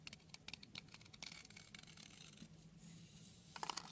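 A utility knife blade scrapes and carves the surface of a long, solid red soap bar held in hand, with crumbs falling away. Quiet, bright, crisp scratching ticks come in quick irregular bursts over a faint low hum, easing into a smoother shaving hiss before a final flurry of sharp scrapes.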